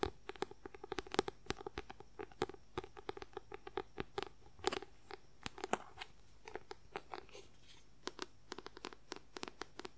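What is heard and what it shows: Fingernails rapidly tap and scratch the white paper cover of a paperback book held upright. About 48 quick, dry clicks with a crisp, crunchy edge are heard, each dying away almost instantly, over a faint steady background.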